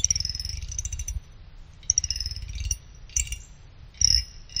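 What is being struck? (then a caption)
Finned aluminum CPU cooler heatsink. A small pick held in the fingers scrapes across the side fins of a small finned aluminum CPU cooler heatsink. Each pass gives a quick, bright, ticking rattle with a high metallic ring over a low rumble, separated by short pauses.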